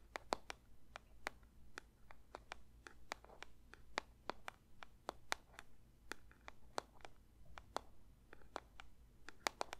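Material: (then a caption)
Paper. A paper box is lightly tapped with the fingertips for ASMR, giving about thirty quick, soft, dry taps in an uneven rhythm. Each tap is short and crisp with a bright click and almost no ring. A faint, steady low hum sits underneath.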